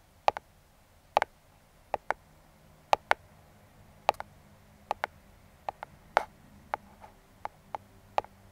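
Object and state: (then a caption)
Cardboard box tapped with metal fingertip picks. Metal claw fingertip picks tap and click on the top of a small, closed brown kraft cardboard box. There are 18 short, dry clicks, many in quick pairs, each sharp and bright with almost no ring, over a quiet, faint background.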